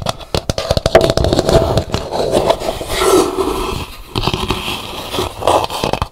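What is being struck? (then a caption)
Dried calabash gourd bowl. An empty, hollow, dried calabash gourd bowl with a painted hibiscus interior is held and then set upright, with long nails scratching its rim and outer shell and then the painted inside. The result is a rapid, dry scratching and clicking texture with a hollow, woody resonance around 660 Hz and very short decays.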